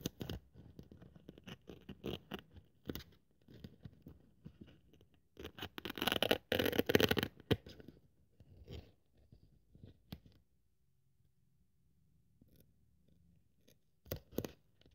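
A thin white polyethylene foam sheet, held in long-nailed fingers, is cut with a craft scalpel blade, making dry, irregular scratching and crackling scrapes. The cutting builds to a louder, denser rasp midway, then thins to faint rustles before a final pair of sharp scratches.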